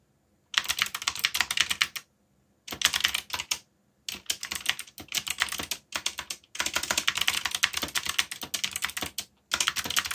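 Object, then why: Plastic mechanical keyboard. Fingertips rapidly tap the keys of a backlit black plastic mechanical keyboard while typing. Bursts of bright, crisp clacking keystrokes with very short decay are separated by brief silent pauses.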